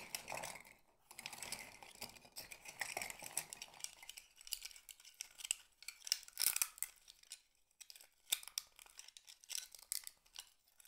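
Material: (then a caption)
Shell. Fingertips with medium nails scoop a handful of small, hollow, empty blue-black mussel shell halves from a pile on a board and rub and clink them together in cupped hands. The sound is a quiet, bright, dry clatter of rapid clicks and scraping rustles with almost no low end and no ring.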